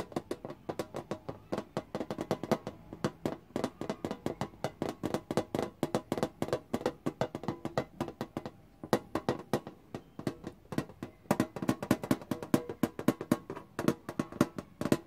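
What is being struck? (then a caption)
Printed tin lunch box. Long painted nails and fingertips tap rapidly on the lid of a closed, hollow pink Hello Kitty printed tin lunch box. A dense, irregular stream of short, dry, hollow clicks and taps is heard, each dying away almost at once with a bright click over a low-mid body.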